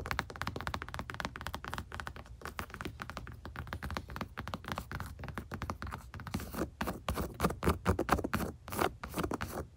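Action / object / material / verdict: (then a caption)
tap / padded leather console armrest / leather / none. Long nails tap and scratch across the surface and along the seam of a stitched, padded, soft-backed leather center console armrest in a truck. The result is a dense, irregular run of soft, dull taps and scratchy rubs that die away almost instantly, with low thuds underneath. The tapping grows louder and sharper toward the end.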